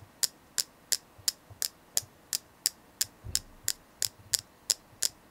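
Sixteen light taps on a selenite crystal come at a steady but slightly uneven pace of about one and a half per second. Each is a sharp, bright click that dies away almost instantly, with hardly any low-end body, over a quiet background.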